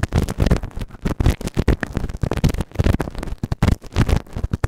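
A pointed white plastic tool is pushed into the canal of a grey silicone ear microphone and scratches the silicone. It makes close, dense, muffled scraping and rubbing bursts that come in irregular waves, heavy in the low end with little brightness.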